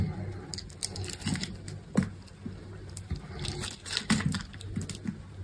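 A metal utility knife blade shaves scored strips off a solid green bar of dry soap held in the hand. The scraping cuts come as a quick run of short, dry, crisp crunches and crackles with bright edges, over a faint low steady hum.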